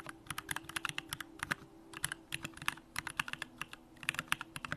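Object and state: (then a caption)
Mechanical keyboard being typed on. Continuous two-handed fingertip typing on a compact Bakeneko65 mechanical keyboard with an aluminum case, Durock lavender switches, and pink plastic keycaps. A rapid, uneven run of short, bright keystroke clacks decays almost instantly, over a faint steady low hum.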